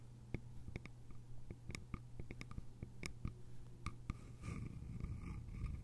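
Long nails tap and scratch the sides of a small, hollow, cylindrical bamboo container with a lid. Quick, dry taps with very short decay sound over a steady low hum. Toward the end, the tapping gives way to a softer, rasping scratch.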